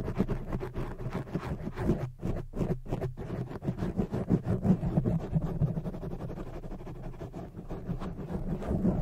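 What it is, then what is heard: Foam microphone windscreen being scratched. Long fake nails scratch and cup a black oval foam windscreen on a microphone, making dense, muffled, low rumbling scratches in quick irregular strokes. A few brief near-silent gaps break the sound early on before the steady scratching and rubbing resume.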